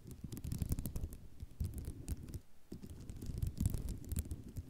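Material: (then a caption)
Ceramic. Long nails scratch vigorously across a white ceramic mosaic tile sheet, making a dense run of quick, dry scrapes and clicks. The sound is mostly low and rumbling, with short bright ticks riding on top, and it keeps going with a brief lull in the middle.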